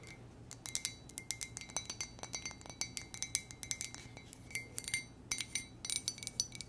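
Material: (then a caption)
Ceramic. An empty, hollow white ceramic monogram mug with a gold base is tapped with long nails in quick, uneven bursts. Each tap is a short, bright clink with a faint ringing tone around 2 kHz, heard over a quiet, steady low hum.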